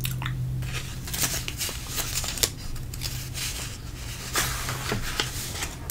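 Fingertips slide across the thin glossy pages of an open trade magazine, then lift and flip a page. Soft, dry swishing and rubbing with a few crisp, bright paper snaps sit over a steady low hum. The sound stays quiet and close, with short crackles rather than a ringing tail.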